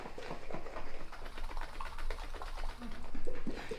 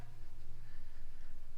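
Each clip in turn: First: glass jar of liquid cream sloshing. Second: shaken jar of cream thickened, no sloshing.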